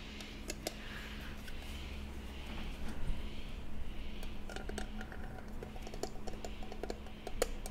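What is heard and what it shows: Long nails tap and scratch over the lid and sides of a small hollow jewelry box with an embossed, decorative silver-toned metal surface and a hinged lid, held in the hands. Light, sharp clicking taps come in quick, uneven bursts with brief scratchy strokes over a steady low hum.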